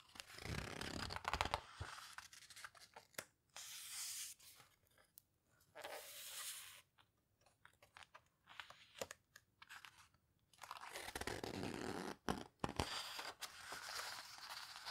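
Long-nailed fingers squeeze and rub the paper pages of an open photo book, then turn a page. The result is bursts of bright, crinkly, tearing-like rustling separated by quiet pauses and short scratchy taps.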